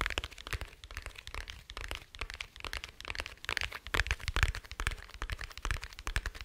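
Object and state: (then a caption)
Hard glasses case. Fingertips and nails tap on a small, dark, rigid, hollow glasses case held close. The taps come in quick, irregular runs, each a crisp click with a low, hollow thump that dies away almost at once.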